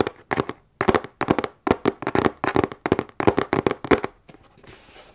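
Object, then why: Corrugated cardboard box. Long nails tap quickly on the sides and top of a medium, hollow, closed corrugated cardboard box held in front of the chest. Rapid clusters of crisp, dry taps have a hollow midrange thump and almost no ring. The taps give way to faint, softer tapping and a light rustle at the end.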